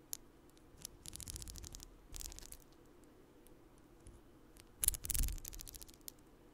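A long strand of small purple plastic beads on a necklace is held up and handled with fingers close to the mic, so the beads rattle and click against each other. Bright, quiet bursts of clicking come and go over a soft low rumble, with the loudest cluster of rattles near the end.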